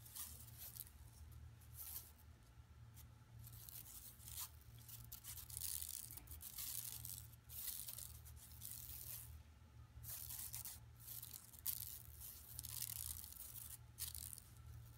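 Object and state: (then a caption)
Plastic mesh shopping bag. Long nails on both hands scratch a flat, empty, yellow woven plastic mesh tote bag lying on carpet. The scratching comes in repeated bright, rasping bursts that swell and fade over a steady low hum.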